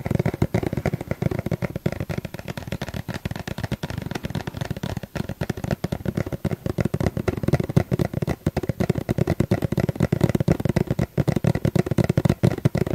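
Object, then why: Plastic sunscreen tube. Fingers tap rapidly and continuously on a sunscreen tube, producing a dense stream of short, dull, low-pitched knocks that stop instantly with no ring.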